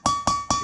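Three hammer taps on a metal socket driving a valve stem seal into a Ram 2500 6.4L Hemi cylinder head each give a sharp, bright metallic ring near 1.1 kHz that fades quickly. The seal is fully seated: the tapping tone changed once it bottomed out.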